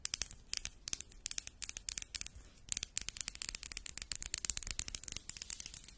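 A small solid pink rose quartz egg, held in the hands near the microphone, is tapped quickly and repeatedly with long pink acrylic nails. The taps are sharp, bright clicks with a high, crisp tone. Each one stops almost instantly with no ringing.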